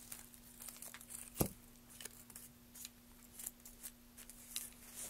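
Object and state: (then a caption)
Wooden plank being carved. Gloved hands drive a gouge along the surface of a solid, light wooden plank, peeling off shavings. Short, dry, bright scraping and tearing strokes come in bursts, with one sharper, louder cut near the middle. A faint steady low hum runs underneath throughout.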